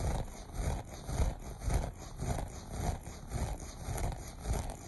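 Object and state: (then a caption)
Looped carpet being scratched. Short nails scratch the pile of a beige looped carpet in a steady back-and-forth rhythm. About eight soft, rustling scrapes swell and fade, low and muffled, with a faint bright hiss on top.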